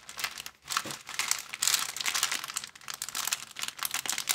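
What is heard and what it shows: Hands squeeze and crinkle a thin, empty, transparent plastic bag. The result is a dense, bright crackling that runs almost continuously for about four seconds, with brief lulls between bursts and almost nothing in the low end.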